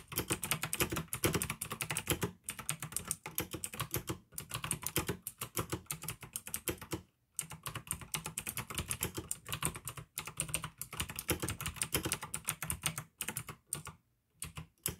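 Fingertips type steadily on a pink AUKEY plastic mechanical gaming keyboard with blue switches, producing a dense stream of sharp, bright clicks over a low plastic thock. The typing comes in bursts, with brief pauses around 2, 4, 7, 10, 13 and 14 seconds.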